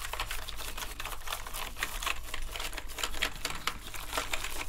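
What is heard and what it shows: Two toothbrushes scrub the keycaps of a black plastic gaming keyboard covered in foam, making a steady, bright, scratchy rustle of rapid bristle strokes with a faint wet patter. A low, constant hum sits underneath the scrubbing throughout.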